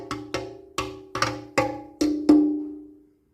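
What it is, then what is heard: Sound steel petrol tank. A rusty steel petrol tank from a 1968 Honda PS50 is tapped several times to hear whether the metal is rotten. Each tap gives a sharp, hollow knock with a clear ring near 300 Hz. The last taps ring out longest, showing the metal is still sound.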